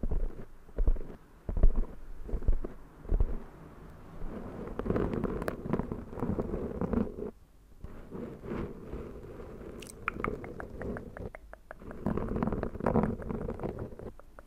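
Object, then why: Porous foam microphone windscreen scratched with long nails. Long black acrylic nails on both hands scratch a soft, porous black foam windscreen on a Zoom microphone. The result is a dense, muffled, low rustling and crunching with irregular scratchy bursts and brief pauses.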